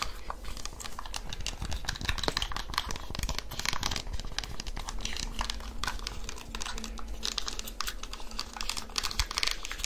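Long nails press and tap the hard keys of a small black handheld plastic calculator in quick succession. The result is a dense, rapid stream of short, dry, bright plastic clicks with almost no ring, over a faint steady low hum.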